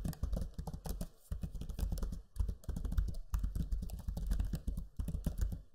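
Fingertips type steadily on the backlit black Lenovo Legion 5 laptop keyboard with its low-profile plastic keys, giving a dense run of soft, dull clicks and thuds. The taps are muffled and mostly low, with brief pauses between bursts of keystrokes.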